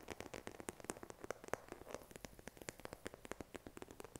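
Fingernails tap and scratch the back of a smartphone in a pink silicone case, held in both hands. A quiet, rapid series of dry, soft clicks sits in the mid range with no ring, and light scratching rustles between the taps.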